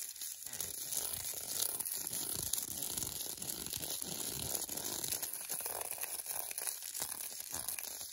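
Long glittery nails rapidly tap and scratch the glossy paper wrapper of an unopened, foil-and-paper wrapped milk chocolate bar held in the hands. The result is a dense, continuous run of bright, crisp crinkling and scratching with quick, short-lived clicks and little low end.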